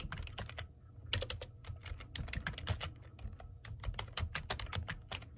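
Fingertips of hands wearing rings, with painted medium-length nails, type on the plastic keys of a black plastic computer keyboard. A quick, uneven run of bright, crisp key clicks, each with a low thud, fades fast between strokes, stopping and starting in bursts.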